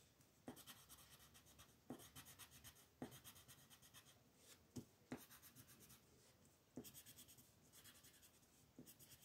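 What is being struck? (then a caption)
Wooden colored pencil on a paper sheet. A yellow-orange wooden colored pencil rubs and scratches across a flat white paper mandala coloring sheet in quick coloring strokes. The result is a soft, dry scratching with a rapid back-and-forth rasp, broken by several sharper taps where new strokes begin, and a faint bright hiss over a low, quiet body.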